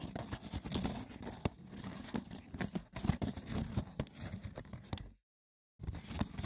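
The textured woven surface of a wicker basket is scratched roughly and tapped, producing dense, crackling scrapes with sharp clicks and a low, hollow body. The scratching runs almost continuously, drops to silence for about half a second, then resumes.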